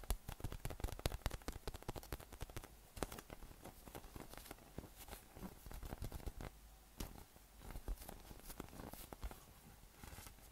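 A yellow, hollow, air-filled inflatable PVC massage ball with nubs is held in one hand and tapped and patted with fingertips and flat fingers. The result is a steady run of quiet, dull, low thumps and soft pats that stop short, with faint crackly patter between them.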